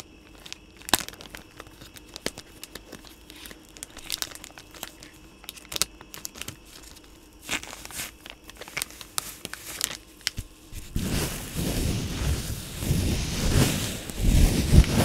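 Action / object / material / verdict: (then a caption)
scrape / soft plastic pouch of wipes / soft plastic / none. A hand-sized yellow soft plastic pouch of Lysol wipes, full of wipes, is held in front of the mic and crinkled and rubbed with the fingertips of both hands. Sparse, sharp plastic crinkles and ticks fill the first eleven seconds. The sound then turns into a louder, continuous, dense rustling rub to the end.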